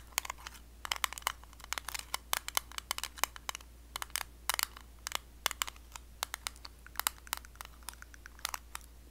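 Long blue acrylic nails tap and scratch the lid and rim of a small, closed, round blue metal Nivea cream tin. Dozens of sharp, bright clicks and taps come in quick irregular bursts, mixed with faint scratchy rasps. A steady low hum runs underneath throughout.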